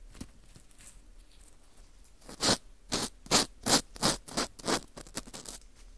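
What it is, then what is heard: Dried wheat gluten ring (fu) being scraped. A porous dried wheat gluten ring (fu), held in front of the mic, has its hole scraped with a green plastic scoop. Faint scratches give way to seven louder, dry, bright rasping strokes in a rough rhythm, then softer scrapes fade out.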